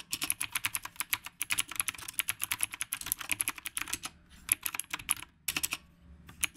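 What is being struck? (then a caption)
Mechanical keyboard with round plastic keycaps. Fingertips type on the round plastic keycaps of a retro typewriter-style mechanical keyboard. The result is a rapid run of bright, crisp clicks with almost no ring or low end, and it pauses briefly near the four- and five-second marks before the typing resumes.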